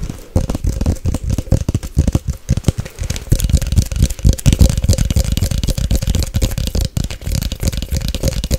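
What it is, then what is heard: Glass coffee jar. A Nescafé glass coffee jar with a gold lid, held in both hands, is tapped fast and aggressively with long nails on the lid, the glass and the label. The result is a dense, continuous run of sharp, dry clicks and muffled, low-heavy knocks over a faint steady tone near 550 Hz.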